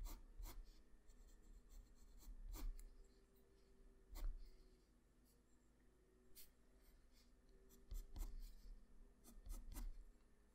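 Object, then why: Graphite pencil on drawing paper. A graphite pencil scratches line strokes across a flat sheet of white drawing paper, shading the neck and chin of a drawing. Quiet, dry scratching comes in irregular bursts, with short, bright ticks as the lead meets the paper, over a low, steady hum.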